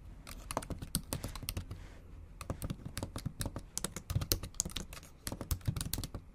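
Long acrylic nail tips type fast on the black plastic keys of a MacBook Pro keyboard set in an aluminum body. A rapid, uneven run of sharp, bright clicks with short, dull low taps underneath, with a brief lull around the two-second mark and a quieter gap near five seconds.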